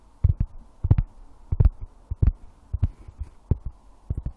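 A wooden object is tapped in an uneven rhythm, often in quick pairs, about fourteen times. Each tap is a soft, dull, low thump that stops almost at once, with faint brighter clicks on top and quiet stillness between them.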